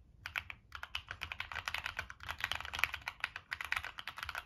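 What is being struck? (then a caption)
Mechanical keyboard with plastic keycaps and metal case. Fingertips type quickly on a Monsgeek M1 mechanical keyboard with a dark metal case and purple and black plastic keycaps. About 28 short, crisp, bright clacks come in a steady run, with quick decay and little low end.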